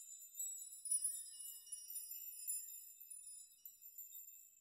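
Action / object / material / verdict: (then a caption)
shake / hanging metal nails chime / metal / none. A metal nail chime of hanging metal nails is pushed and rocked by fingers so the nails clink together. The result is a quiet, continuous high, bright tinkling with short ringing tones and no low end.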